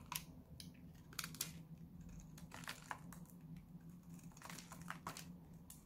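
A solid purple bar of dry soap, held in the hand, is cut and scraped with a metal utility-knife blade. Each pass gives a short, dry, bright crunching scrape with a crisp, crinkling texture that stops almost at once. A steady low hum sits underneath throughout.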